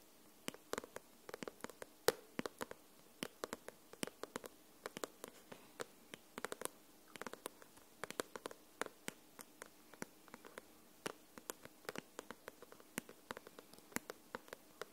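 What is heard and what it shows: Long nails tap the front card cover of a closed, solid white paperback novel. About sixty quiet, dry clicks come in an irregular, fairly quick rhythm; each is bright and sharp and stops almost instantly, with no ring. One louder tap lands near the two-second mark.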